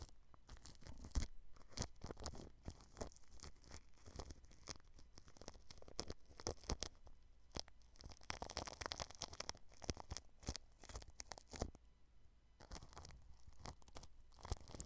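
A small red-handled paintbrush brushes and rubs clear plastic cling film wrapped over a round microphone head near the grille. The result is close, crinkly rustling and sharp crackling bursts over a low, muffled rumble, with a quieter lull around twelve seconds before the brushing picks up again.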